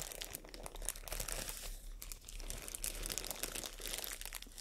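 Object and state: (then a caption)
Thin plastic bag. A thin, empty white matte plastic bag is held in both hands and crinkled and folded with long nails. The result is a quiet, continuous stream of bright, crisp crackles and rustles, with a steady low hum underneath.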